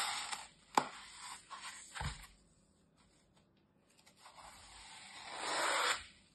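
A utility knife blade scores and scrapes along the surface and edge of a brick-sized, solid, dry green floral foam block, held on a table by a hand with long red nails. Bright, gritty rasping bursts are broken by two sharp clicks near the start. After a quiet pause, one long scrape swells louder before cutting off.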